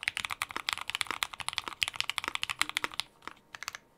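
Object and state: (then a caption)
Mechanical keyboard with plastic keycaps being typed on. Both hands type rapidly with their fingertips on a compact 60% mechanical keyboard with a white case, white and dark GMK plastic keycaps, a polypropylene plate and Gateron Ink Black switches, resting on a dark desk mat. About 25 short, crisp, bright keystrokes clack in quick succession with almost no low end. They thin out into a brief lull just after 3 seconds, then a few final taps follow.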